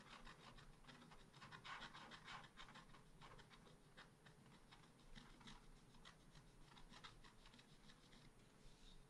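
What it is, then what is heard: Scratch art paper card being scratched. A wooden stylus is scratched and rubbed over the flower area of a small black-coated scratch art sheet. It makes quick, uneven, dry rasping strokes with a bright papery texture over a faint low hum. The result is a quiet, steady scratching that runs for about nine seconds.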